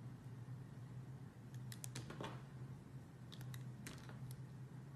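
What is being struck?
Glycerin soap bar cut with a metal blade.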